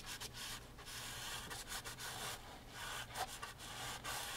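A gloved hand wipes the painted canvas of an upright framed oil painting of flowers, set in a wooden frame, with a microfiber rag. The result is a steady, breathy rubbing hiss, bright and broadband, with brief dips between irregular strokes.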